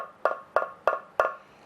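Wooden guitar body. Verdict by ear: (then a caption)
Hollow. Four taps on the top of a lifted wooden guitar body over its routed control cavity give hollow, woody knocks centered near 650 Hz that die away quickly. The tone over the cavity is lower and throatier than over the solid part of the body.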